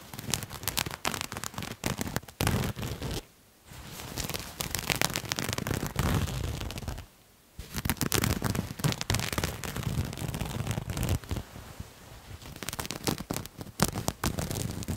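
Fingernails scratch and rub the surface of a bunched purple-and-white patterned cloth garment, making dense, crackling scratches with a low rumble and bright hiss. The scratching runs in bursts, with two brief quiet pauses near 3.5 and 7.3 seconds before it resumes.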